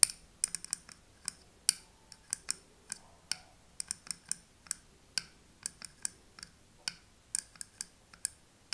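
A thin metal pick taps and scratches the rim and front paper label of a small glass candle jar filled with wax. About 28 quiet, sharp, bright ticks land at an uneven pace with almost no ring, and a faint scratching sound lies between some taps.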